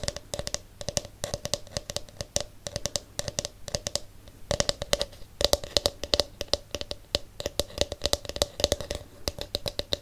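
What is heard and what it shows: A palm-sized detangling hairbrush with a hollow, smooth blue plastic back shell is tapped and scratched with fingertips and nails. Dense, rapid, bright clicks and taps with a hollow mid-range tone are broken by soft scratchy rustles, and each hit dies away almost instantly.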